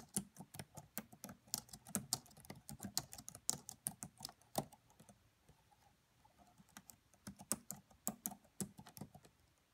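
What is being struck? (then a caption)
Plastic laptop keyboard. Long fingernails tap on the black plastic keys of a red laptop keyboard, giving quick, quiet, bright clicks with a soft low thump under each keystroke. The typing runs in bursts, pauses briefly near the middle, then resumes at a steady pace.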